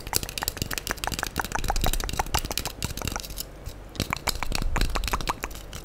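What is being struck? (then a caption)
Foam sponge block. Long nails scratch and rub the surface of a handheld, solid, light-blue porous foam sponge block while a brush tool is held aside. Dense, irregular crackling and crunching scrapes with a heavy low-end thump run throughout, easing into a brief quieter stretch in the middle before the scratching picks back up.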